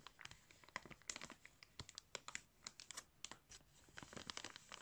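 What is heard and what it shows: A clear plastic bag filled with yarn is crinkled and rubbed across its top by fingertips. The result is a quick run of bright, sharp crinkles and scratchy rustles, with almost no low end and each crackle cutting off at once.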